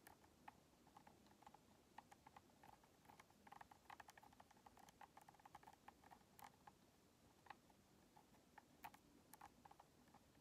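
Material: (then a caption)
Plastic. Long nails tap and rub on a white hollow plastic Xbox controller and its purple rubber thumbstick grips, making quick, quiet, dry clicks and soft scratchy rubbing. The light taps come in irregular bursts with a faint hollow plastic tone around 800 Hz and bright, sharp edges, and each one stops almost instantly.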